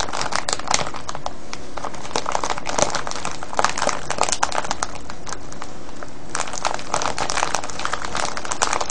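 Fingers and nails squeeze and scratch a clear cellophane gift bag full of foil-wrapped sweets, tied with a yellow ribbon. The result is a continuous, dense crinkling with bright, sharp crackles popping out over a steady rustle for the whole clip.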